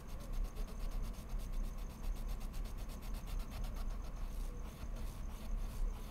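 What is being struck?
Colored pencil on mixed media paper.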